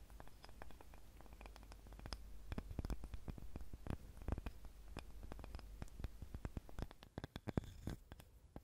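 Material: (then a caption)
Wood. Long nails scratch and tap on a small, light, solid wooden cutting board. The result is a steady run of soft scratching with many short, dry, low-heavy taps that stop instantly and carry no ring.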